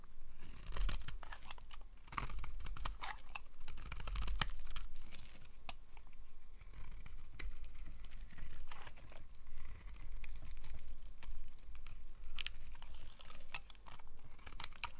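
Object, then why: Bar of soap. A hand-sized solid cream bar of dry soap is carved and scraped with a yellow utility-knife blade, its flakes dropping onto a pile of soap shavings. Dense, dry scraping and crisp crunching cuts come in quick, irregular bursts, with brief quieter pauses between strokes.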